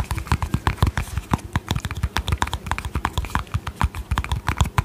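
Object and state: Plastic cream tub.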